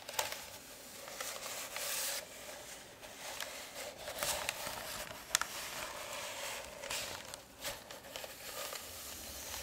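A long white roll of baking (parchment) paper, a hollow tube held in one hand, is tapped and rubbed along its surface with long red-painted nails and fingertips. The result is a steady, bright, papery crinkling and scratching texture with sharp, dry clicks from the nails that die away instantly, and almost no low end.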